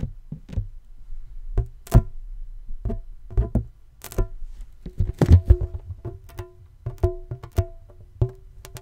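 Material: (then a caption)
Latex. A medium-size inflated green latex balloon, hollow and air-filled, is held in both hands and tapped with fingertips and nails. It makes a quick run of soft, deep, hollow thuds, some with a short resonant ring and a few sharper, brighter clicks from the nails. Each tap dies away almost at once.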